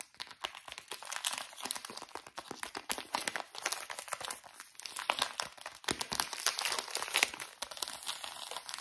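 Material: Soft plastic.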